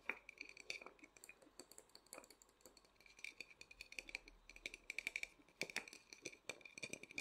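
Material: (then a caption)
Lacquered wood. A small, hollow, painted wooden matryoshka nesting doll is held in both hands while fingertips and short nails quickly tap and scratch its lacquered surface. The result is a quiet, rapid run of dozens of dry, bright clicks and scrapes with very short decay and almost no low end, riding on a faint steady tone near 2.3 kHz.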